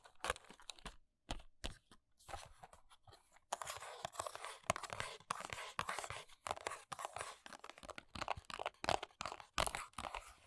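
Long acrylic nails and fingertips tap and scratch the front and sides of a small, empty-looking, hollow Kiss press-on nails retail box made of paperboard with a plastic window. Quick dry taps alternate with bright, crackly scratching and crunchy rasps, separated by brief near-silent gaps. The sound is quiet and close, with little low end and almost no ring after each touch.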